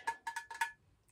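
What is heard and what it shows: A thrifted vintage ceramic lamp with colourful light bulbs inside, signed 1979, is tapped five times in quick succession. Each tap gives a bright, bell-like ring centred near 920 Hz that fades within a fraction of a second.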